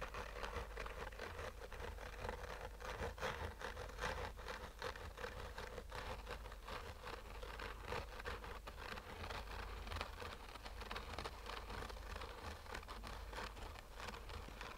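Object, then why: Fabric-covered hard-shell sunglasses case. Short fingernails slowly scratch a black oval sunglasses case with a textured fabric covering over a hollow rigid shell. The result is a steady, dense scratchy rustle with a faint hollow tone around 570 Hz over a low rumble.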